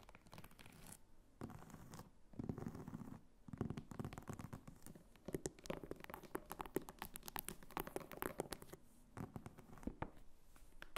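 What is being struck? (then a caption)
Small faux leather purse. Long fingernails scratch and tap the front and top of a small red purse made of croc-embossed faux leather with a snap button. The quiet, dry sound is scratchy and crinkly, with rapid raspy scrapes mixed with short, crisp taps that die away almost instantly. Bursts of dense scratching come and go with brief lulls between them.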